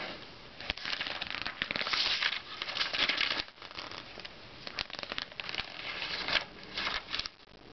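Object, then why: Glossy paper magazine. Fingertips slide over the pages of an open glossy paper Self magazine, pinching and turning the page edges. Bright, crisp crinkling and rustling comes in bursts of dense crackle with quieter sliding between them, almost no low end, and each sound dies away at once.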